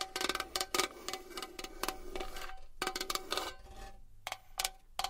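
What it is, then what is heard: Metal box. A small metal box is tapped and scratched with long nails, giving a quick, uneven series of bright, metallic clicking taps with a short ringing tone. Between the taps, a soft, hissy scratching fills the gaps before the tapping resumes.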